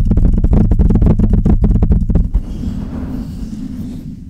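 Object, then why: Metal microphone body and mesh grille. Long red nails and fingertips tap a large silver Blue Yeti style microphone with a hollow metal body and mesh grille, giving fourteen quick, deep, booming knocks over about two seconds. The taps then give way to a softer, steady scratching across the grille and body that fades out.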